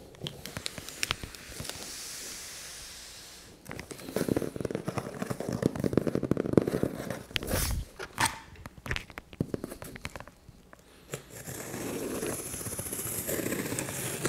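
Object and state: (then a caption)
Cardboard shipping box. Fingertips rest on and tap the top of a large, closed, hollow brown corrugated cardboard shipping box that is taped shut on a table, producing soft rubbing followed by dense, crackly tapping with sharp bursts. A knife blade then scratches and slices along the tape seam, giving a steady, raspy scraping hiss.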